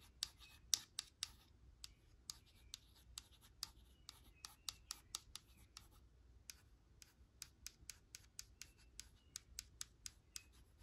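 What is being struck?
Plastic cosmetic jar.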